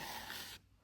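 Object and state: Nothing is struck.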